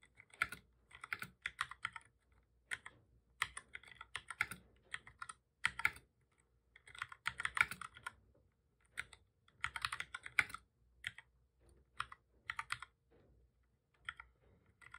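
Both hands type steadily with their fingertips on a full-size black plastic computer keyboard with a hollow body, resting on a desk. The sound is a quiet stream of short, bright clicking taps that comes in irregular bursts with brief pauses between them. Each tap fades almost instantly.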